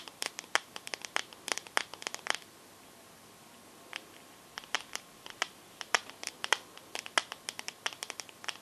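Long nails tap and scratch the glass back of a teal smartphone held sideways. Crisp, bright clicks arrive in quick irregular bursts with faint scratchy friction between them, and they stop dead with almost no ring. The tapping breaks off for about a second and a half of quiet before resuming at a steady pace to the end.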